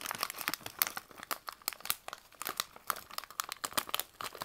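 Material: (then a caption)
Plastic. A partly filled green plastic candy pouch is held in both hands while the fingertips squeeze, crinkle and rub the plastic. It gives a rapid, uneven run of sharp, bright crackles and rustles with almost no low end, each burst stopping dry and short.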